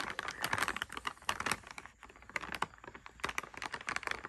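A medium printed plastic packaging bag of TNT sour lollipops, full of candies and lying flat on a bed sheet, is tapped and scratched with long red-painted nails and fingertips while the palm rests on the bag. Quick, bright clicking taps and crinkly scratches come in dense bursts, with a brief quieter pause in the middle.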